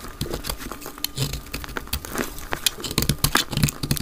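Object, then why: Bar of soap cut with a blade. A palm-sized solid green dry soap bar, held in the hand, is cut and shaved with a utility knife blade, sped up to double speed, with chips falling onto a pile of soap shavings. About twenty short, dry scraping and crackling cuts follow each other irregularly, with crisp bright crumbling over a soft low thud, and each dies away almost instantly.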